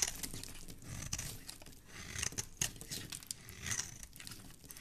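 A black blade scrapes across the surface of a small, solid, oval yellow bar of soap held in one hand, shaving off fine crumbly flakes. The result is a series of dry, bright scratching and crinkling strokes with soft crumbly crackle, swelling and fading with each pass.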